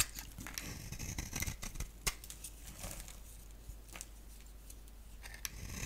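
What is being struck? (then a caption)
Bar of soap. A box-cutter blade scrapes and shaves a solid, palm-sized oval bar of dry soap with a black shell and cream interior. Repeated short, crisp scraping strokes are heard, bright and dry with little ring, over a steady low hum.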